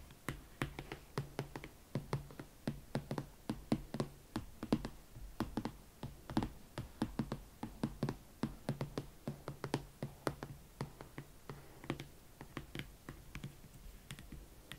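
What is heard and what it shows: Long nails and fingertips tap slowly on the leather shaft and the side of the foot of a single, hollow, empty hot pink leather Valentino Club Platform Chelsea ankle boot with a platform sole. Dozens of short, separate taps come at a steady, unhurried pace. Each is a dull, low knock with a faint bright click from the nails, and it dies away almost instantly.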